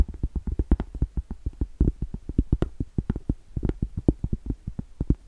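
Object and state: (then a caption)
Cork trivet. Long stiletto acrylic nails tap quickly on the face and along the thick edge of a round, solid cork trivet. About 35 soft, dull, low thuds fall in an uneven rhythm. Each tap stops at once with no ring.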